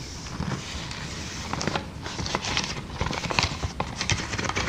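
Long dark nails grip, squeeze and tap clear, air-filled plastic air-column cushion packaging. The result is a steady stream of crinkly plastic rustling, dotted with quick, bright clicks and taps.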